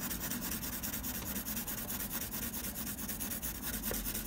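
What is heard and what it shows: A blue mechanical pencil tip scratches curved graphite hatching strokes across a flat sheet of textured drawing paper. The result is a steady, dry, bright scratching rasp that pulses quickly and evenly with each stroke over a low, constant hum.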